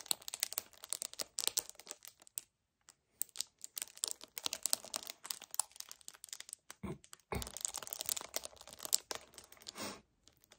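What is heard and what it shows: A hollow 1 L white paperboard kefir carton is gripped, scratched with nails and tapped. The result is a quiet, dense run of dry crinkling, scratching and clicking that sits mostly in the high, bright range, with short pauses. Near the end come a couple of softer, fuller grip sounds.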